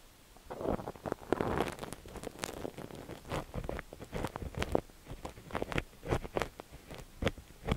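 A thin metal ear pick with a white handle scratches and pokes inside the ear canal of a cream, solid soft silicone dummy-ear microphone on a tripod, held steady with one hand. Close, muffled scraping and rubbing mix with a run of quick, sharp clicks and taps that flare bright and die away instantly, with no ringing.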